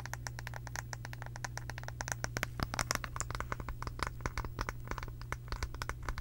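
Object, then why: Round wooden brush back. Long pink acrylic nails scratch and tap rapidly on the back of a round, light-colored solid wooden brush head. The result is a dense stream of short, sharp clicks and scratchy scrapes over a steady low hum.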